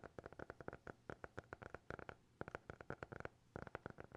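A small, closed, solid black hardcover notebook held in both hands is tapped with fingertips and nails. About 27 quick, dry, quiet taps come in irregular bursts, each with a soft low knock and a clicky midrange tone that stops almost instantly.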